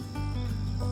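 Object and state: Nothing is struck.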